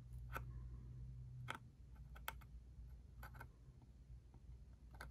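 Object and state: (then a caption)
Cardboard ink cartridge box. A small, hollow, cube-shaped cardboard ink cartridge box is tapped with fingertips on its top and its barcode side. Short, dry, irregular taps with a hollow papery click sit over a steady low hum.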